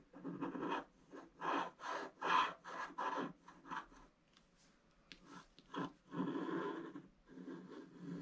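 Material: Coated paper.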